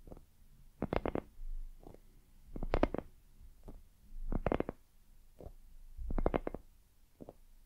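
Long acrylic nails tap and scratch the surface of a palm-sized, hollow, white soft silicone dumpling-shaped night lamp held in both hands. Quick clusters of dull, soft taps alternate with quieter, low rubbing scratches in a loose rhythm. The taps die away almost instantly, with no ring.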